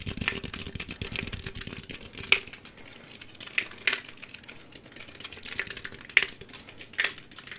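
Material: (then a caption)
Aluminum. A green Mountain Dew aluminum drink can, hand-sized and hollow with unknown fill level, is held close and tapped fast with fingertips and nails. Quick, bright, tinny ticks and clicks patter continuously, with a few sharper, louder taps ringing out with a short metallic ping around 2 kHz.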